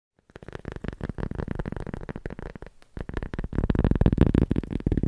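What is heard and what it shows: A small, round, solid cork disc is held in one hand and tapped and scratched with the fingertips and nails of the other hand. Rapid, irregular, dry, low-heavy taps and scratches follow each other closely, briefly thin out just before the three-second mark, then return denser and louder toward the end.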